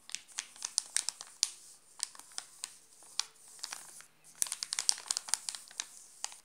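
A flat hand presses on a sealed, full Alpino chocolate bar in a glossy plastic wrapper while fingertips scratch and crinkle it. Quick, sharp crackles and rustles come in dense bursts with a brief pause, all bright and high with almost no low end. Each crinkle snaps off almost instantly.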